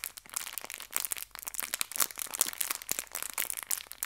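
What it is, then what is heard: Plastic bag of hair ties being crinkled. A small clear plastic bag filled with hair ties is squeezed and crinkled by fingertips with long nails. Dense, bright crackling crinkles come in quick overlapping bursts with almost no low end, and each snap dies away at once.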